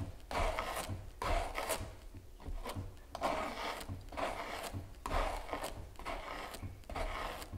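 A palette knife held in the fingertips scrapes and spreads gel across a large stretched canvas giclee print lying flat on a table, with a solid wooden frame beneath the taut canvas. Repeated rasping strokes come in uneven bursts, each a dry, papery scrape with a low drum-like thud from the taut canvas underneath.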